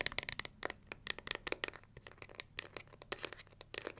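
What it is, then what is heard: Plastic paddle hair brush. Long nails scratch and tap the plastic back and edges of a pink plastic paddle hair brush, then scratch across its black pins. The result is a quiet, rapid run of sharp, bright clicks and dry scratching with no ring after each touch.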